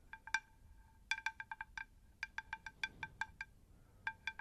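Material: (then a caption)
Terracotta. Long acrylic nails tap the face and rim of a round, shallow, hollow, empty unglazed terracotta plant saucer held in both hands and tilted close to the microphones. Each tap gives a short, bright, bell-like ping with clear ringing tones, in quick irregular clusters of about twenty taps over soft low background noise.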